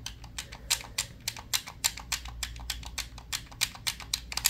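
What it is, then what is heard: Plastic game controller. Fingers rapidly tap and scratch the grips and buttons of a hollow, black plastic handheld game controller. The result is a quick run of about two dozen sharp, bright, dry clicks that die away almost at once, over a faint low hum.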